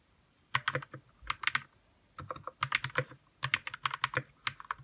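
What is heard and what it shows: Fingertips of both hands type on a white RK61 60% mechanical keyboard with plastic keycaps, lubed red switches and a hollow plastic case. Quick bursts of short, bright clacks centered around 1 kHz carry a faint low thump and stop almost instantly, with brief pauses between the bursts.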